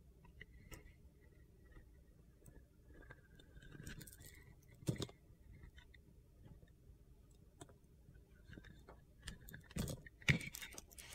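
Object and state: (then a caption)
Bar of soap being scraped. A box cutter blade shaves the coating off a blue glitter-coated solid soap bar in repeated scraping strokes. Quiet, gritty, crunchy scrapes come at an irregular pace, punctuated by a few sharper, brighter clicks, each dying away almost instantly.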